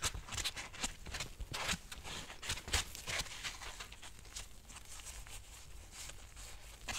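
A white nylon mesh bath loofah with a rope cord, soft and hollow, is squeezed and rubbed by nitrile-gloved hands. The result is a run of crisp, bright crinkling and scratchy rustles with short sharp snaps, busiest in the first few seconds, then easing into a steadier, softer rubbing texture.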